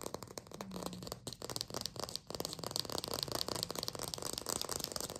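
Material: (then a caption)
Plastic. A small green fake lime made of artificial plastic is held in the fingers and tapped fast on its rind with long pink acrylic nails. The result is a rapid, continuous stream of short, dry, bright clicks with a light rattling texture and almost no ring.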